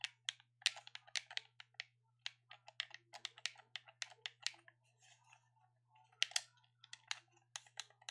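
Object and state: Plastic game controller buttons clicking.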